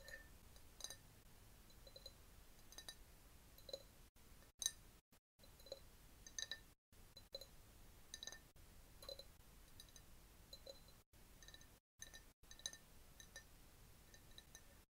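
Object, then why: Glass jar partly filled with liquid. Long nails tap a clear, labeled glass jar that is partly filled with liquid and holds a bamboo straw. The taps are quiet, bright, irregular clinks that die away almost instantly, over a soft steady background hiss broken by several brief moments of silence.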